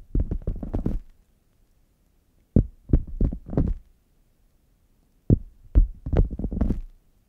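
Fingernails tap and scratch the padded top of a closed, hollow red faux leather zip hard case lying flat. The sound comes in three bursts of quick, dull, low thuds and muffled scratches, separated by silence. Each sound dies away almost at once.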